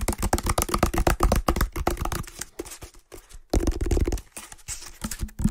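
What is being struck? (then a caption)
Woven water hyacinth basket. Fingertips quickly scratch the outer weave of an empty, medium-sized hexagonal woven water hyacinth basket, producing rapid, dry, crackling bursts with a heavy low-end thump. The scratching runs in quick, uneven strokes, drops to a brief near-silent pause around the middle, then resumes just as busily.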